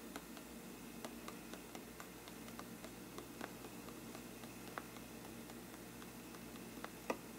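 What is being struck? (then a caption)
Faux-parchment paper lampshade. The tip of a thin brush handle taps and scratches a hollow faux-parchment paper lampshade. Soft, dry, papery ticks are scattered over a quiet, steady hiss, with brief scratchy rustles between them and a slightly sharper tap near the end.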